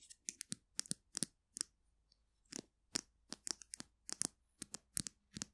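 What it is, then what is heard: Plastic glue stick tube tapped with nails. Long nails of both hands tap and scratch the plastic barrel of a small capped polka-dot plastic glue stick, a hollow tube held horizontally. The result is quiet, bright, dry clicks and scratchy ticks in quick irregular bursts with a short pause midway, each sound stopping almost instantly.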